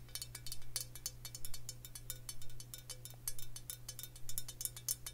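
Long fingernails tap rapidly and unevenly on a glass rye whiskey bottle filled with amber liquid, held in the hand. Each tap gives a bright, clicky clink with a short ring. A steady low hum runs underneath throughout.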